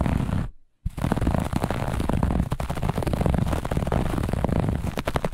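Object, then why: Textile carpet with looped pile. Long nails on both hands scratch fast across a grey-beige looped pile carpet. The result is a dense, rough, rapid scratching with a heavy low rumble and a brief silent break near the start before the scratching resumes steadily.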